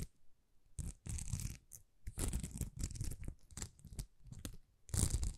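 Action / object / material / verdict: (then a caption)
scrape / plastic rhinestone sticker sheet / plastic / none. Long nails scratch a thin, flexible plastic rhinestone sticker sheet of small rhinestones that is bent slightly. The result is quiet, uneven bursts of dry, crackly scratching, with a heavy low rumble under a bright hiss and short pauses between strokes.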